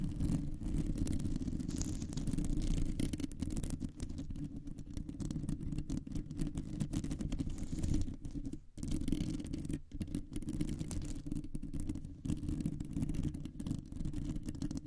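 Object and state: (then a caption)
Metal microphone mesh grille scratched with nails. Long nails scratch across a round, hollow metal mesh microphone grille, producing a dense, continuous, low rumbling scrape with a thick, muffled body and almost no high end. The scratching runs steadily for the whole clip, with only brief dips near the 9- and 10-second marks.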